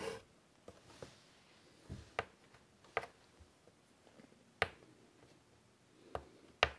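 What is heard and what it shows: Fingertips draw with white chalk on a large flat chalkboard in a wooden frame resting on a table, making quiet scratching and rubbing strokes. Five sharper chalk taps stand out with a bright edge, and fainter scrapes fall in between. Each sound dies away almost at once.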